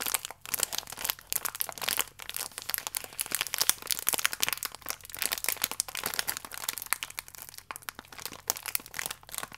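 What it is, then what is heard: Plastic-wrapped biscuit pack being crinkled. A full, small plastic-film biscuit pack is crinkled, squeezed and stretched flat by both hands. Dense, bright crackling and crinkling fills the clip, with rapid sharp crunches and clicks and almost no low end. The crackle keeps surging and easing without stopping.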